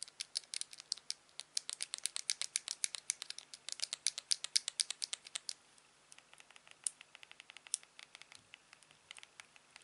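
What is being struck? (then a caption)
Plastic game remote in a silicone sleeve. A hollow blue plastic Wii remote in a clear silicone sleeve has its side buttons repeatedly clicked with a thumb. About 44 short, dry, bright clicks come in a dense, fast run for the first five and a half seconds. After a brief pause they continue as quieter, sparser clicks.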